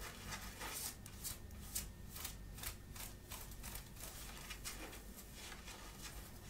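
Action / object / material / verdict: scrape / cotton shirt fabric / cotton / none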